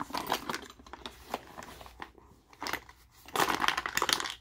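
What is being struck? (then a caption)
Plastic tackle box with lures. A translucent hard plastic compartment tackle box, about 20 cm, with fishing lures inside is held in both hands and tilted and shaken so the contents rattle. Quick, dry, bright clicks and clatters come in uneven bursts with brief quiet gaps, ending in a denser, louder flurry of rattling.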